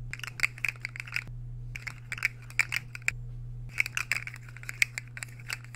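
Metal fork tines are scraped across a solid, empty white square ceramic plate close to the mic. Short, bright scratchy clicks with a ringing tone near 2 kHz come in three bursts separated by brief pauses. A steady low hum runs underneath.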